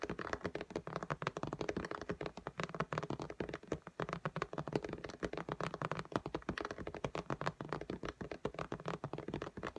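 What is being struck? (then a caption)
Glass tablet screen. Long fingernail tips from both hands tap fast, alternating strokes on the glass screen of an iPad lying flat in a pink case. The result is a steady, rapid stream of short, dry clicks and light taps with a mid-pitched body and a soft low thump, each dying away almost instantly.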